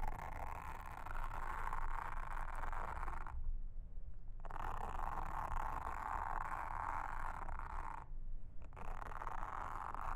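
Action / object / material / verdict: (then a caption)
scrape / silicone honeycomb trivet mat / silicone / none. A pink mascara spoolie brush, held in a hand with long red nails, brushes and scratches across a round blue silicone honeycomb trivet mat lying flat on a table. The result is a steady, dense bristly scratching centered in the midrange, broken by two brief pauses where only a low hum remains.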